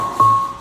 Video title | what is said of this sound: 도예가 라영태 작가의 열두 번째 개인전에 다녀왔습니다. | 맑은 소리가 나면 이게 온전한 거고 둔탁한 소리가 나면에 어딘가 파손된 그런 상태라고